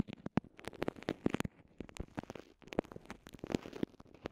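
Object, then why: Soft vinyl zip pouch. Long nails and fingertips squeeze, crinkle and scratch a small, transparent, soft vinyl zip pouch that holds two earphone microphones and is otherwise empty. Quiet, closely spaced crackles and sharp crinkle snaps sound in uneven bursts, with brief pauses between them. Each sound dies away almost at once, leaving a dry, close-up crinkling texture.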